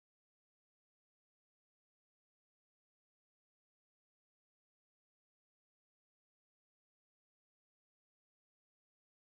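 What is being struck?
Nothing is struck.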